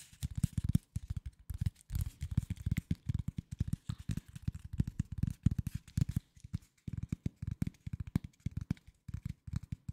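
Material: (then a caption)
Cardboard. Fingertips and nails rapidly tap and scratch a flat corrugated cardboard sheet, its fluted edge visible, held tilted near the microphone. Dozens of dull, low, short taps come in quick, uneven bursts with brief pauses, each dying away at once with no ring, and a faint papery scratch sits over them.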